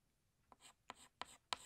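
A green chalk stick is rubbed across a flat black chalkboard, drawing the stem and leaves of a plant. Four sharp taps each lead into a short, bright, dry scratchy stroke, growing louder toward the end, against a quiet background.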